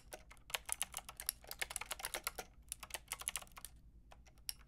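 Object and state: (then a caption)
Plastic mechanical keyboard with round keycaps. Fingertips with long red nails tap out a quick, uneven typing rhythm on a Lofree mechanical keyboard with a plastic frame and round keycaps. The keys give sharp, bright plastic clicks and clacks that stop almost instantly, over a faint low hum. There is a brief pause near the end before a few final taps.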